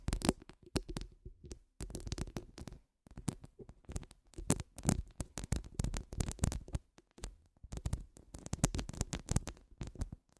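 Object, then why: Woven steel mesh microphone grille. Long nude acrylic nails rapidly scratch a hollow woven steel mesh microphone grille, making quiet, dense bursts of scraping and tapping. The sound is heavy and muffled with a low thump, broken by brief gaps of near silence. Fine, bright scratchy detail sits on top of the low end.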